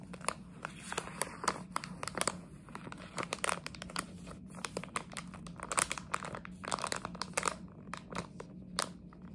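A plastic jelly bean bag is scratched and crinkled with long nails, producing a dense run of sharp, bright crackles and scratchy rustles over a steady low hum. The crinkles come in quick, uneven bursts for the whole clip, each one snapping off almost instantly.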